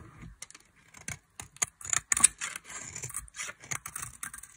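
A solid bar of dry mint-green soap, held in long-nailed fingers, is carved with a metal blade. Quick, dry scraping and cutting strokes come in irregular bursts. The sound is bright and crisp with almost no low end.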